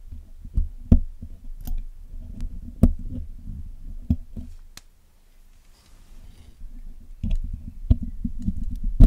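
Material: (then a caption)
Metal. A steel hook pick and tweezers pick at the wires of the black hollow metal mesh grille on a Blue Yeti microphone while cleaning it. The sound is a close, low, thumpy scraping and rustling dotted with sharp clicks and dry ticks. It goes nearly quiet for a moment before the picking resumes more busily.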